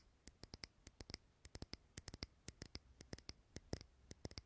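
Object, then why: Small glass candle jar. Fingernails tap and scratch a small clear glass jar candle filled with green wax, held close. Quick, dry, bright clicks arrive in an irregular run of about two dozen taps, each dying away almost instantly over a faint low hum.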